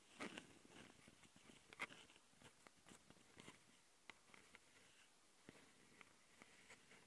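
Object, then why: Plastic handheld audio recorder with metal-mesh microphone grilles. Long painted nails scratch and tap the metal-mesh mic capsule grilles of a small plastic Tascam handheld audio recorder. Quiet, bright, dry scratching rasps are broken by sharp clicks at irregular intervals, each dying away almost instantly.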